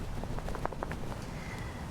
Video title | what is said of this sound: Community Conversations – Jahnna-Marie Kēhaulani Kahele Madali: Niu and Food Systems in Hawaiʻi | You can kind of shake this and kind of hear that one a little bit.